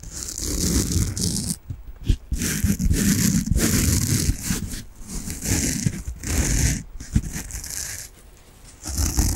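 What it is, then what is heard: Foam bath sponge being scratched. Long nails scratch a peach foam bath sponge with a string loop, making a dense, continuous scratchy rustle with a bright hiss over a low rumble. The scratching runs in bursts with brief pauses, then fades quieter near the end before a final burst.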